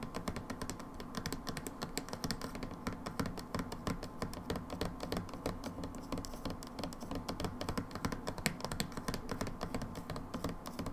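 Long acrylic nails tap rapidly and irregularly on a medium plastic pump bottle of moisturizing hand wash with a paper-like label, which appears full and is held in the hands. The result is a dense stream of short, dry, clicky taps with a hollow low body and almost no ring.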